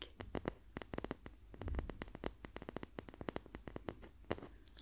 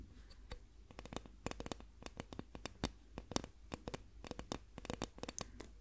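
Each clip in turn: First: Quick, dry clicking taps with no ring, the light, dead tick of a wooden ruler. Second: Rapid dry taps, bright and clicky with no ring, on a plastic ruler.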